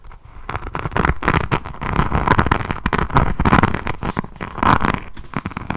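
A diamond painting notebook with a resin rhinestone cover is held upright while long nails scratch over its faceted resin beads. The result is a dense run of fast, crackly scratching and clicking strokes, heavy in the low end and swelling and fading in bursts.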